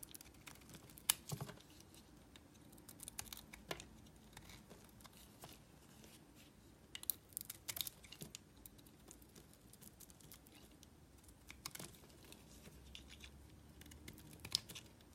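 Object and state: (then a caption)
Bar soap. A palm-sized, solid green bar of soap with a black painted coating is held in the hand and carved with a small metal blade. Quiet, crisp, bright scraping and clicking cuts come in short, dry bursts with a few sharper snaps, over a faint low background hum.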